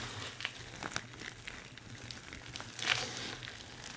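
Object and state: Dry soap shavings being crushed.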